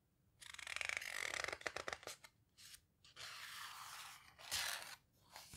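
Fingertips and palms with long red nails press and rub the heavy paper pages of an open houseboat book, then turn a page by hand. Bright, papery rustling and crinkling builds into a burst of sharp, quick crackles before giving way to smoother swishing sweeps of the page.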